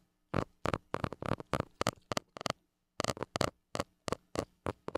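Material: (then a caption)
Metal mesh. A white plastic stick tip scratches the hollow metal mesh grille of a small gold mini microphone in 18 short, separate rasping strokes. Each stroke is a dry, broadband scrape that cuts off quickly, leaving gaps with only a faint low hum between them.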